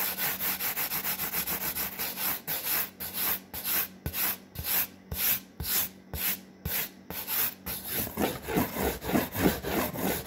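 Long fingernails and fingertips rub and scratch a large, flat, brown corrugated cardboard sheet in quick repeated strokes. A fast, dense run of dry scratching gives way to slower, separate hissing swipes with bright edges. The last few seconds turn to fuller, lower rubbing strokes.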